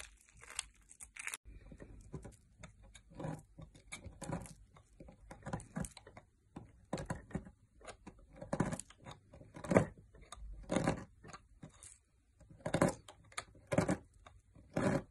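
A metal knife blade shaves and carves chunks from the end of a solid green opaque bar of soap with an embossed logo, held by fingertips. Crisp, crumbly scraping and crunching comes in short, irregular bursts with brief quiet gaps, each cut bright and dry with a soft low undertone.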